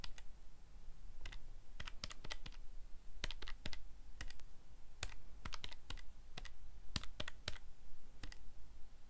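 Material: Plastic.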